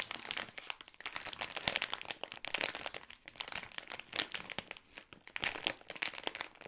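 A glossy plastic-film Ritter Sport Jamaica Rum bag, filled with wrapped chocolates, is squeezed and scratched with fingertips and nails. Dense, bright crinkling and crackling comes in quick overlapping bursts with almost no low end, each crackle dying away almost instantly.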